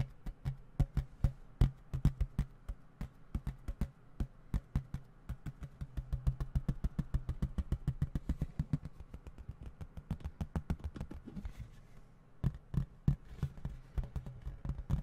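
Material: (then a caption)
Plastic. A small, hollow plastic video game case, held in both hands in front of the microphone, is tapped rapidly with the fingertips. The taps come as quick, dull, hollow knocks with a low thump and almost no high ring. Each tap dies away almost at once, and after a brief lull near the end the tapping starts again.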